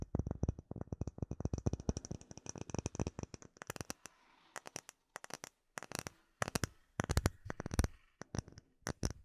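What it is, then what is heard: Acrylic plate. Short nails and fingertips tap a flat, solid, clear acrylic plate about hand size with embedded bubbles. Rapid, steady runs of dry taps start the clip, then break into quicker bursts separated by short pauses. Each tap is a dull low thump with a faint bright click that dies away almost at once.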